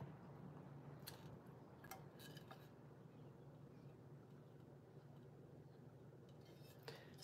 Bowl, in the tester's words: it's a crack because when I tap on it, you can hear it.